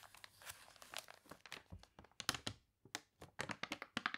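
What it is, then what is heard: Water-wrinkled paper catalog pages. Long dark-painted nails and fingertips scratch, rub and press the pages of a large open glossy paper toy catalog, its pages wavy from being sprayed with water, lying flat on a polka-dot tablecloth, with page turns. Quick bright crinkles and crunchy crackles come in rapid bursts with very little low end, pausing briefly near the middle before sharper, louder crinkles resume.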